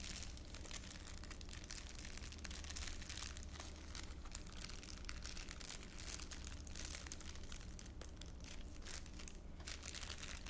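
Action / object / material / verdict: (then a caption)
scrape / thin clear plastic bag / plastic / none. A thin, empty, hand-sized clear ULINE plastic bag is held in both hands and crumpled and crinkled with the fingertips in front of the chest. Dense, continuous crackling and crinkling fills the clip with bright, sharp snaps over a steady low hum. The sound stays at an even level throughout, with no pauses.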